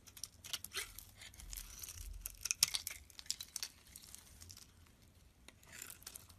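A utility knife blade shaves curls off the surface of a cream-colored oval bar of solid soap held in the palm. The quiet scraping makes a string of crisp, bright, crackly rasps with a dry, tearing texture and almost no low end.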